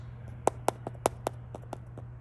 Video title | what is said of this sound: RV Leaks? Stop Ignoring These Warning Signs | when you tap on that and that stuff is loose, and sometimes it's not all loose, well, this one's very loose